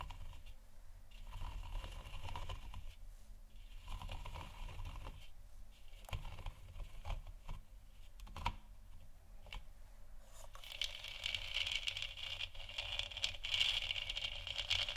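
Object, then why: Hollow plastic lamp sphere. Long nails tap and scratch a large, hollow, 3D-printed plastic moon lamp sphere with a textured surface, lit white. Soft clicks and dry scraping sit over a low rumble, with a sharp tap near the middle. Toward the end the scratching turns into a steadier, brighter rasp centred around 3 kHz.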